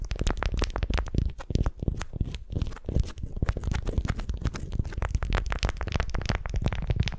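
A beeswax-coated cotton wrap, twisted like a candy around a small wooden sphere and held in both hands, is gripped and crinkled with long nails and fingertips. It gives a dense, continuous stream of quick, crunchy crackles and soft scratchy rustles, mostly low and muffled with little high-end brightness.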